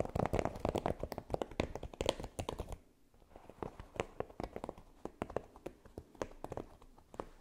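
Long nails scratch and tap across a flexible, flat red silicone baking mat covered in small pyramid spikes. A dense, crackly scratching fills the first few seconds, drops to near quiet for a moment, then gives way to a quicker run of short, dry, muted taps that stop instantly with no ring.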